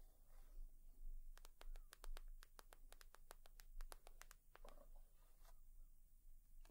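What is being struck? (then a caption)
Leather purse. Long nails tap and scratch on a leather purse, making a quick run of sharp, bright clicks between about 1.3 and 4.4 seconds. Softer scratching follows over a faint low hum, and each tap fades almost at once.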